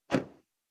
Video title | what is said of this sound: Toyota AYGO X HEV: Une Mise à Jour à la Hauteur des Attentes ! | surtout à l'arrière quand on les claque, ça sonne un peu comme du métal fin